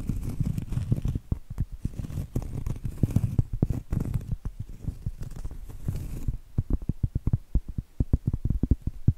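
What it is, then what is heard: Cork trivet. Acrylic nails scratch and tap the flat face of a round, solid cork trivet. For about six seconds, dense, low, dry scratching runs with taps mixed in. Then it gives way to a quick run of separate, dull, muted taps that stop almost instantly.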